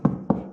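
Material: Wood.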